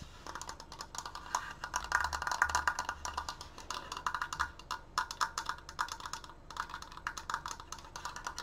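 Fingernails tap fast on both side slats of a large, open, triangular wooden triforce frame held upright. The result is a rapid, uneven stream of dry, hollow wooden clicks with a woody mid-range tone and almost no ring. The taps swell louder in a few bursts before settling back into steady patter.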